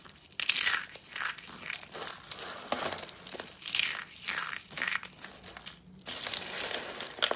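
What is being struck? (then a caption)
Soap shavings rolled into curls. Fingers crush dry pink soap shavings, rolled into thin, hollow curls in a bowl, first a rosette curl and then the pile, into small flakes. Bursts of dense, bright, crisp crunching and crinkling rise and fade in waves, with short quieter gaps between squeezes.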